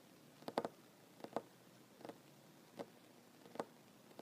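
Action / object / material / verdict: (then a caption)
tap / wooden tabletop / wood / none. Short fingernails of one hand tap on a large solid wooden tabletop while the other hand is held still in the air. The quiet, dry, mid-pitched clicks come in irregular small clusters and die away almost instantly against a faint hiss.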